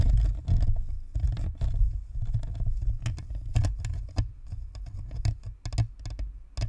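Long nails tap and scratch the top and sides of a hollow, white plastic spherical USB microphone. The result is a quick, irregular patter of dull, boomy thuds, heavy in the low end, with short bright clicks and soft scratchy rustling between them.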